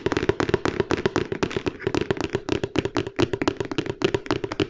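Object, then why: Large flat cardboard box. A large, flat, hollow Lego Stormtrooper cardboard box is held in the hands and tapped quickly with the fingertips and nails. The result is a fast, steady run of short, dry knocks with a hollow resonance near 380 Hz and faint bright clicks from the nails.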